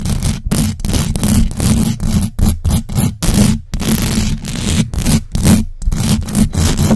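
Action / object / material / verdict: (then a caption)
scrape / metal mesh microphone grille / metal mesh / none. Long acrylic nails scratch the sides and top of the hollow metal mesh grille on a large black USB microphone. The result is loud, fast, rough scraping bursts separated by brief gaps, with a heavy low-end rumble and a steady tone near 211 Hz.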